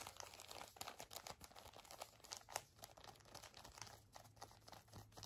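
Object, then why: Pocket tissue pack in a soft plastic wrapper. A full pink Kleenex pocket tissue pack in a soft plastic wrapper is crinkled, squeezed and tapped with long nails. Dense, bright crackling rustles with many quick clicky taps are heard over a low steady hum.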